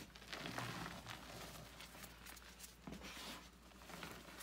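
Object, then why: Crumbled gym chalk (magnesium carbonate) squeezed by hand. Bare hands scoop and squeeze crumbled gym chalk powder (magnesium carbonate) in a white bucket, with chalk discs sitting at the side. Quiet, irregular crunching and gritty rubbing crackles rise and fall throughout, with bright, dry texture over a steady low hum.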